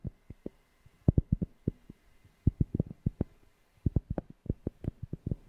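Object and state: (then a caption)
Cork tapped. A cork object is tapped close to a FIFINE K690 microphone, giving a quick, irregular run of short, deep, bassy thumps with almost no ring. The taps come in uneven clusters with brief quiet gaps, and a faint steady hum sits underneath.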